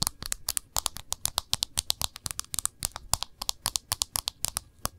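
An iPhone in a protective case, back facing up, is tapped and scratched rapidly with fingernails on its back and rim. About 35 sharp, bright clicks and scrapes come in an irregular quick rhythm, each dying away almost instantly with little low-end weight.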